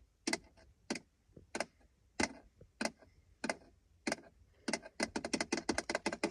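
Fingertips and nails tap and scratch the textured surface of a dark grey, palm-sized, flat, hollow-backed plastic gear shift gate plate around an automatic gear lever in a car's center console. Nineteen short, dry, bright clicks come at a slow, uneven pace, then speed into a quick cluster near the end, with no ring after each hit.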